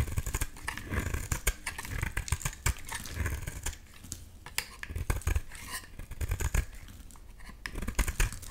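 A box-cutter blade shaves a solid yellow bar of soap held in the hand, peeling it into curly flakes. A steady run of short, crisp scraping cuts comes through, each with a soft low thud and a bright papery edge, some strokes louder than others.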